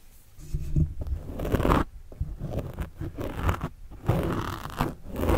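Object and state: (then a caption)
Foam microphone windscreen. A pen tip scratches the sides of a black foam windscreen on a microphone, producing muffled, bassy rubbing and crunching in uneven bursts. The strokes swell and fade with short gaps between them, staying dull and low with little high-end hiss.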